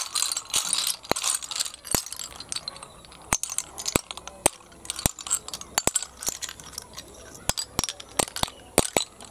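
A heap of small, hollow, empty snail shells on concrete is gathered and pushed with both hands. The shells clatter in bright, dry rattling bursts punctuated by sharp, quick clicks that stop almost instantly, with little low end.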